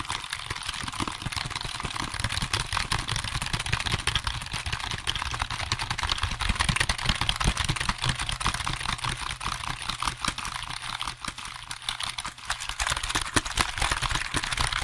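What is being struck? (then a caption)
Plastic computer keyboard keys. Fingertips and nails quickly tap and type on the keys of a hollow black plastic computer keyboard held close to the microphone. Dense, fast, irregular bright clicks rattle on for about 15 seconds over a low steady rumble.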